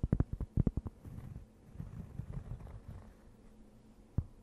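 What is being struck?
Thin round cork board.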